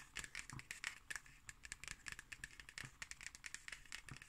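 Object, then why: Hardcover notebook with cardboard cover. Long green nails tap and scratch the cardboard cover of a black hardcover notebook with a red spine and a solid stack of pages, held upright. Dense, quick clicks and scratchy strokes follow one another throughout, with a bright, dry papery crackle concentrated around 2 kHz and above and only a little low thump beneath.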